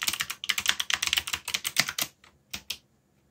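Fingertips press keys on a backlit mechanical keyboard with plastic keycaps, typing sparsely. A fast run of bright, clicky keystrokes gives way to a few isolated taps with short pauses between them. Each click is crisp and dry, with almost no low end.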